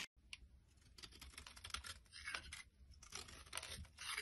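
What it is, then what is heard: Soap bar scraped with a knife. A solid, oval, palm-sized light blue soap bar with a ridged edge is held in the hand and scraped and crumbled with a knife blade, its flakes falling onto a wooden surface. The sound is a quiet run of dry, bright, crisp scratches and crumbling crackles in quick irregular bursts. Each one is short, with almost no ring.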